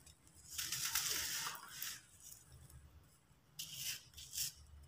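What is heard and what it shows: Bare fingertips squeeze and rub apart a small, solid, dry, crumbly sand-cement disc over a pile of loose sand and other discs, crumbling it into grains. Bright, gritty crunching and crackling comes in two bursts, with quiet hiss between them.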